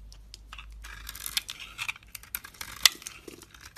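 A utility blade cuts and scrapes crumbly pieces off a solid bar of soap with a red rim and white inside, held in one hand. Dry, bright crackling scrapes come in short bursts, with one sharp, loud snap near the end.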